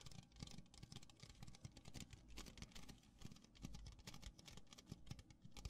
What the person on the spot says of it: I feel like it makes some really nice noises